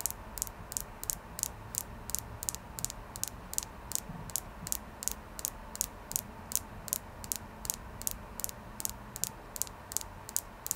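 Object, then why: Clear quartz crystal. Fingernails tap steadily on a clear quartz crystal, making about 34 short, bright ticking clicks over roughly 11 seconds. Each tick dies away almost instantly over a faint, steady background hiss.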